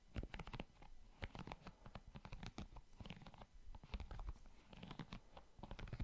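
Fingertips scratch and rub across the soft silicone bristles of a small handheld pink plastic scalp massager brush held near the microphone. The result is a quiet, close, dry stream of rapid scratchy crackles and patters in uneven bursts, with a heavy low thump under bright, brief bristle clicks that die away instantly.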